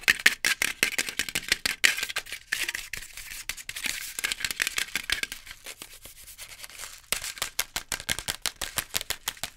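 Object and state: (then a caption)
Instant noodle cup tapped and scratched. Long nails rapidly tap and scratch the lid and printed side walls of a sealed, full Maggi instant noodle cup (printed cardboard/plastic pot) held in both hands. Dense, dry, bright clicks and scrapes with almost no low end soften to lighter scratching in the middle, then fast tapping picks up again at the end.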